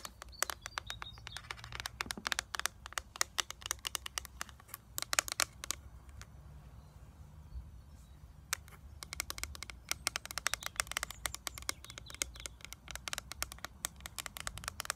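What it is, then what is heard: Plastic eyeshadow palette. Long nails tap rapidly on the clear plastic lid and edges of a small, flat eyeshadow palette with a gold frame, held up in the air. Dense bursts of sharp, bright plastic clicks with almost no ring run across the clip. A quieter lull between about 6 and 8.5 seconds leaves only a faint low background hum.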